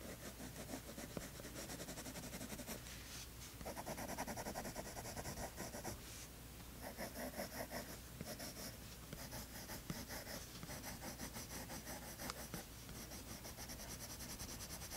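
A hand with painted nails scratches lines onto a tan toned-paper sketchbook page with a green colored pencil. Quiet, continuous dry scratching strokes with a bright, papery texture run over a steady low hum, with brief pauses between bursts of drawing.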